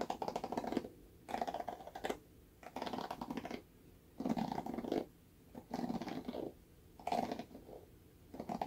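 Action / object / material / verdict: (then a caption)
scrape / plastic paddle hairbrush / plastic / none. Fingernails scratch the bristles of a red plastic paddle hairbrush, first held edge-on and then face-up. The result is a series of dry, crackly scratching bursts, each lasting under a second, separated by short quiet gaps.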